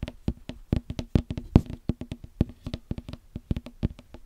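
A small whole green watermelon, solid and full, is tapped and knocked with fingertips and knuckles close to the mic. About 27 quick, dull, low thumps come in an uneven rhythm, each dying away almost at once with a hollow, woody knock around 82 Hz.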